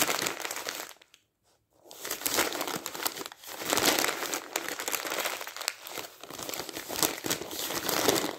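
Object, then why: Glossy paper magazine pages. Thin, glossy printed magazine pages lying on a stack of weekly magazines are crumpled and squeezed by the bare fingertips of a ringed hand. Dense, bright crinkling and crackling fills the clip, broken by a brief silence near the start before the rustling resumes and continues steadily.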